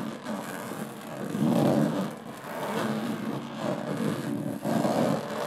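Long polished nails tap and scratch across the fine diamond-textured top panel of a medium hollow aluminum carry case with an aluminum frame and metal latches. A continuous gritty rasp swells and fades in waves, with a hollow, low-mid metallic body and little brightness.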